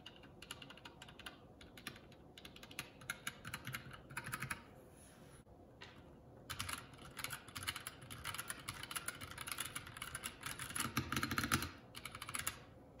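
A 75% mechanical keyboard, a Keycool K84 with plastic keycaps, is pressed one key at a time with a single fingertip, then typed on with both hands. Sharp, bright clicks come in bursts with brief pauses, and a short quiet stretch just past five seconds. The keystrokes then become a denser, louder run of typing that peaks near eleven seconds.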